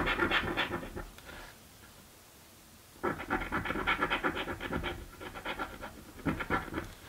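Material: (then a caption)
Paper card. A coin scratches a thin, flat purple cardboard scratch-off lottery ticket in rapid, rasping strokes with a bright papery texture. A burst of scratching fades into a quiet pause, then resumes in longer runs that soften briefly before a final louder flurry.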